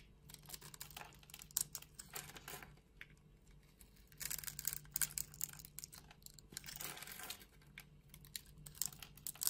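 A solid green bar of soap held in the palm is scored into small cubes and shaved off with a utility knife blade. Bright, dry scraping and crisp cutting sounds come in dense bursts, with quieter stretches between them.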